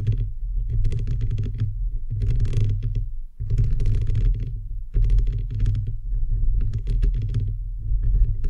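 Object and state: Metal microphone mesh grille being tapped and scratched.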